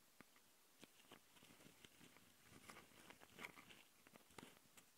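Long nails of both hands scratch the metal mesh grille microphone capsules on the plastic body of a Tascam handheld recorder in a fast, crunchy pattern. The result is quiet, bright, crackly scratches and taps that die away at once, scattered irregularly over a faint hiss.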